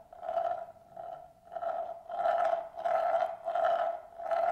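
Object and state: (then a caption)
Marble rolling in a bamboo plate. A single glass marble rolls in circles on the inner surface of a large, shallow, hollow bamboo plate, held empty in both hands. It makes a continuous rolling rumble with a steady ringing hum near 690 Hz. The sound swells and fades in rhythmic waves as the marble circles.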